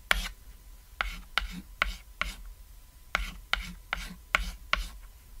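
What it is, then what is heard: Chalk scratching on a chalkboard. A white chalk stick draws crosshatch strokes across a flat, solid cat-shaped painted chalkboard. Ten sharp taps are heard, each followed by a brief bright scratching stroke.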